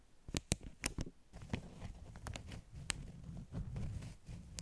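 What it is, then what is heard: Beeswax wrap stack. Long nails tap and scratch the top sheets of a stack of flat beeswax-coated cotton wraps. Sharp, bright clicking taps come first, then a soft, continuous low rustling and scratching with occasional crisp ticks. The sound stays quiet and close, with no ringing after each tap.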